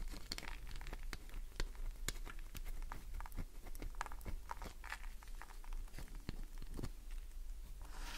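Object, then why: Glycerin soap bar. A solid green glycerin soap bar is scratched with fingernails, dropping shavings onto the surface below. Quick, dry scratches and crisp crinkly clicks come in a dense, uneven stream over a faint low hum. Each scrape is brief and bright, with little ring.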